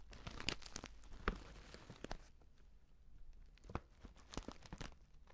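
A filled stand-up paper tea pouch with an orange "Bio Tee" print is held in both hands and squeezed and scratched with fingertips and nails. Dense, dry crinkling and papery tearing sounds fill the clip, with sharper crackles standing out. The crinkling thins out in the second half into quieter scratches and occasional crisp bursts.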